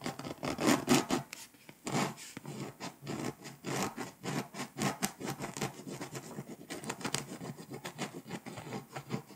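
A pink scraper rubs and scratches across the foil coating of a flat, foil-coated paper scratch-off map. The result is a dense run of short, dry raspy scrapes with bright, hissy edges and a low-mid grainy body, rising and falling in quick strokes for about nine seconds.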